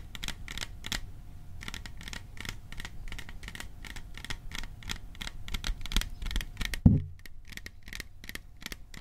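A small metal popcorn container is tapped in a steady run of quick, light taps, each a short, bright metallic tick that dies away almost at once over a low, constant rumble. Near the end, one heavier, louder knock thumps out before the lighter tapping continues.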